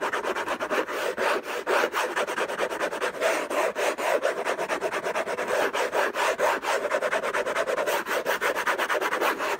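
Fingertips and short nails scratch fast and hard across the lid of a long, rectangular orange Hermès box made of cardboard covered in textured paper, closed with unknown contents, lying on a fluffy blanket. The result is a dense, continuous run of dry, rasping scrapes with a mid-range tone and a faint bright hiss, each stroke ending quickly without ringing.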